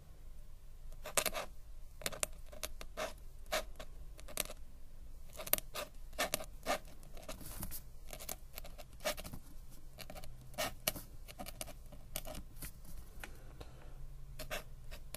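A metal-nib ink pen scratches across a flat paper sketchbook page while writing small script. Short, dry, bright scratchy strokes come in quick clusters over a low steady background hum.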